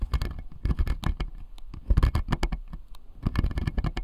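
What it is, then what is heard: Acrylic dental model with plastic teeth. Fingertips and nails tap and scratch the blue plastic molars on the lower jaw of a clear acrylic dental model. Three bursts of quick, dry clicks and light scratches come in a rapid patter, mostly low and dull with faint bright ticks. Each one dies away almost instantly.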